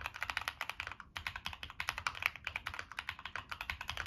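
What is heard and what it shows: Fingertips type steadily on a Monsgeek M1 mechanical keyboard with NK Creams switches, a dark metal case and purple and black plastic keycaps. The keystrokes are rapid, bright, crisp clacks with almost no low end and no ring, with a brief pause around the one-second mark.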